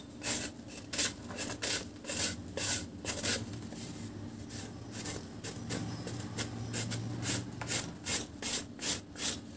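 A round, flat, solid dry cement cake held in one hand is shaved and scraped across its surface with a metal knife blade. Repeated short, dry, bright rasping strokes come in quick bursts over a faint low hum.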